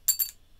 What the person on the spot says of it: It's like it's metal. It's made out of some sort of, compound titanium or something like that.